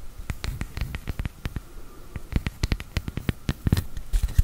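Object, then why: Wooden tree slice coaster. A round, flat, palm-sized solid wood tree slice coaster with a bark edge is held in both hands close to the mic while long dark-painted nails tap and scratch its flat face. The result is a rapid, uneven run of short, dry, woody clicks and taps with a deep low-end thump, mixed with faint scratching between strikes.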